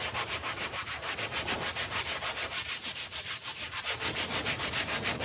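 A light-blue handheld bristle brush scrubs a small, patterned woven textile rug that is wet with foam. It makes a steady, rhythmic, bright bristly swishing at roughly three strokes per second. The scrubbing continues evenly throughout.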